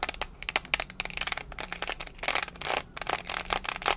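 Long fingernails tap and scratch the lid of a small, hollow, rectangular metal mints tin held in one hand. The result is a rapid series of bright, sharp clicks and brief scratchy rasps, mostly high-pitched, with very little low end and almost no ring after each tap.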